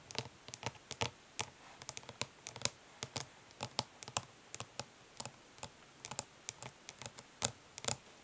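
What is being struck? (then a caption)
Plastic makeup palette. Long nails tap quickly on the lid of a flat, hollow plastic eyeshadow palette resting on cloth. About 33 short, dry, bright clicks come in an uneven rapid patter, each stopping almost at once with a light hollow body.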